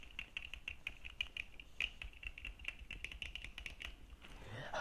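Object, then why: Plastic sunglasses lenses and frame. Fingertips and nails of both hands rapidly tap the dark plastic lenses and frame of red-framed plastic sunglasses worn on the face. The result is a quick, uneven run of sharp, bright little clicks with almost no ring. In the final half second, a softer, broader rustling sound swells up.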